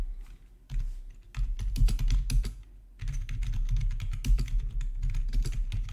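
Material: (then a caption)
Plastic. Both hands type with their fingertips on a plastic RGB membrane keyboard with black plastic backlit keycaps, resting on a marble surface. A dense run of soft, dull key clacks with low thumps briefly quiets just before the halfway point, then resumes in a steady, busy flurry.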